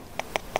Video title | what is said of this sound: Kako se suše vrganji? (jednostavan način sušenja gljiva na suncu i vetru) | Cây nấm này bây giờ đã khô hoàn toàn và khi chúng ta dùng ngón tay gõ vào nó như thế này thì nghe thấy âm thanh như đang gõ vào gỗ.